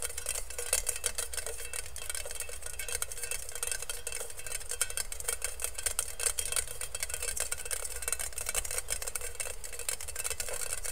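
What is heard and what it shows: Fingertips and nails tap and scratch fast on the perforated base of a hollow, empty stainless steel colander held close to the mic. A dense, continuous stream of quick, bright metallic clicks and scrapes with very short ring runs over a steady low hum.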